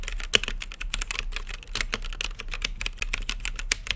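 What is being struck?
Mechanical keyboard with plastic keycaps.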